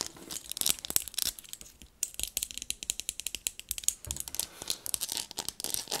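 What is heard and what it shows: Long nails rapidly tap and scratch the barrels and focus area of black binoculars with a rubberized and plastic body and a leather strap, held in the hands. The result is a dense stream of crisp, bright clicks and scratchy rasps with almost no low end, broken by a brief quiet gap around two seconds.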